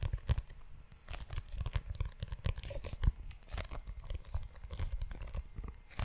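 Fingertips and nails scratch and rub the cover and spine of a closed, solid, brown leather-bound notebook. The result is a steady stream of quick, dry scratching and crinkly rubbing strokes, with soft, low, muffled thumps underneath and only faint bright edges.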